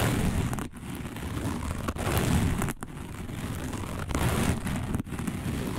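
Long nails on both hands claw and scratch fast across a round, dark, coiled woven fiber placemat. The result is a dense, continuous rough scraping with a heavy low rumble and faint high hiss, broken by a few brief dips as the hands shift.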